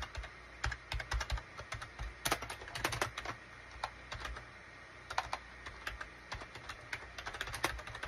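Fingertips of both hands type rapid key taps on a gray SHIPADOO K600 full-size wired USB keyboard with a gray plastic case and cream, gray and orange plastic keycaps. Bright, short plastic clicks come in uneven bursts with brief pauses, each tap carrying a soft low thud and dying away almost at once.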